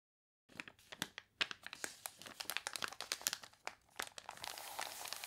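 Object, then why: Glossy paper catalog pages. Long nails scratch and fingertips press and crinkle the glossy, water-wrinkled pages of an open paper catalog lying on a table. Quick, bright crackles and crunches snap out in an irregular stream, and at the end they blur into a denser, steady crinkling hiss.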